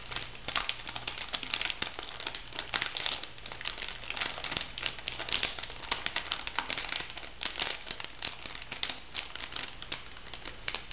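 A pink laminated foil-plastic bath salt sachet is held up and crinkled and scratched by fingertips and long nails. The result is a steady stream of bright, crackly crinkling with many sharp little snaps over a faint low hum.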